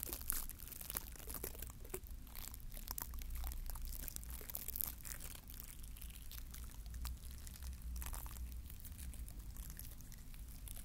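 Fingertips scratch and rub the bristles of a small, glittery green plastic bottle-brush mini Christmas tree, with bristles on a wire core, held close to the recorder. The result is a dense run of crisp, crinkly scratching bursts with bright, high hiss. A steady low hum runs underneath throughout.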